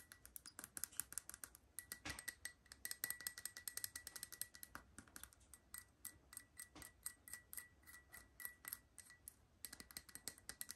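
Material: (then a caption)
Porcelain. Long nails tap the outer wall and rim of a small, hollow, empty white porcelain espresso cup held by its handle. The result is a quick, uneven run of dozens of sharp, bright clicks, some carrying a faint glassy ring around 2 kHz that dies almost instantly. The tapping is quiet, with very little low end.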